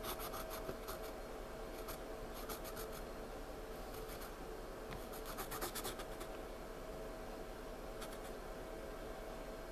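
Slow pencil strokes rub graphite into a paper sketchbook page while the hand stays on the page throughout. A soft, continuous rubbing and scratching is heard, with brief brighter bursts of stroke texture over a steady, quiet background.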